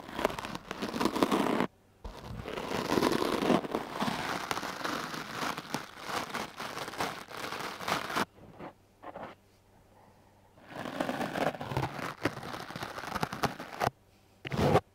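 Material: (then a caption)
Foam. A wooden-backed hard bristle clothes brush is stroked repeatedly across a dark blue foam microphone windscreen, giving dense, scratchy, crackling bursts of broadband noise. Long runs of brushing are broken by short pauses, and a longer quiet stretch falls in the middle before the strokes resume.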